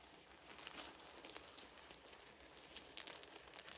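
An open hand rubs and gathers small, round, solid wooden beads spread on a blanket with its fingertips. The result is a quiet, steady stream of bright, dry clicks and soft rattling with almost no low end. A few sharper clacks stand out as the beads knock together.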